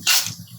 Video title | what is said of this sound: Banana Chips Recipe - Kurkure Chatpate Mazedar Jhatpat Tayyar - Kele ke Chips - Raw Banana Chips - | You can guess by the sound producing, how crispy the chips are fried